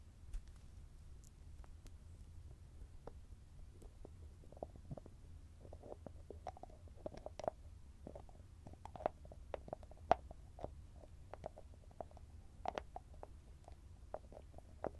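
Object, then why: Small cosmetic jar with metal lid. Fingertips and nails tap, scratch and turn the shiny copper-coloured metallic lid of a small round grey cosmetic cream jar held close to the mic. The result is a quiet, steady stream of soft, short ticks and scratchy clicks centred in the mid-range, over a faint low rumble.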